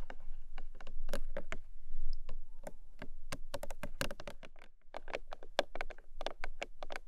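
Long acrylic nails tap and scratchy-tap along the top of a small, long, printed Emi Jay cardboard product box that is hollow and closed. The result is a quick, irregular run of short, dry, hollow clicks and scratchy ticks that die away almost instantly, over a steady low hum.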